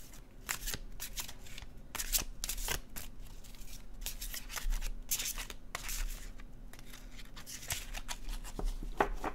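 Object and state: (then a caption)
Paper card deck being shuffled. A paper oracle card deck with blue-edged glossy cardstock is shuffled in the hands with the fingertips, and the cards slide and flick against each other. Quick, bright papery flicks and riffles repeat in uneven bursts over about nine seconds, with no speech, above a faint steady low hum.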